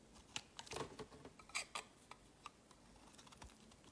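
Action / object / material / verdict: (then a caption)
scrape / bar of soap shaved by a metal knife blade / soap / none. A metal utility knife blade shaves and scrapes flakes off a palm-sized, solid oval blue bar soap with a scalloped edge, held in the hand. Quiet, crisp, bright scraping strokes and short cutting ticks come in an irregular series, each fading almost instantly against a soft hiss.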